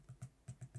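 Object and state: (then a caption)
Laptop trackpad with slight rattle. Five taps on the trackpad of a Lenovo Legion Slim 5 14 laptop, tapped to check how well it is assembled. Each gives a short, low, dull thud centered near 130 Hz with a faint bright click on top. There is a slight noticeable rattle, which the Razer Blade 14 trackpad does not have.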